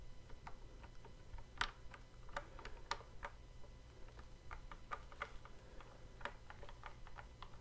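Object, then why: Plastic toy guitar controller. Fret buttons on the hollow neck of a plastic Guitar Hero style toy guitar controller are clicked and tapped with fingertips, producing a steady series of short, dry plastic clicks with bright edges. Each click dies away almost instantly over a low, constant background rumble.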